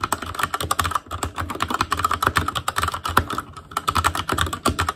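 Fingertips type continuously on an Asus Claymore Core mechanical keyboard with plastic keycaps, producing a rapid, steady stream of short clicky keystrokes with a clacking tone centred around 1.3 kHz. The rhythm briefly thins near the one-second mark and again around three and a half seconds before picking back up.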